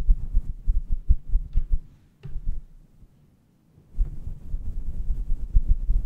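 Fingertips and long red-painted nails of both hands rub and stroke a hollow, fluffy grey synthetic fur windscreen fitted over a standing USB microphone. This produces deep, muffled rumbling and soft, dull thumps, almost all of it low in pitch. The rubbing drops away after about two seconds, leaving a brief burst and near silence, then returns at full strength from about four seconds to the end.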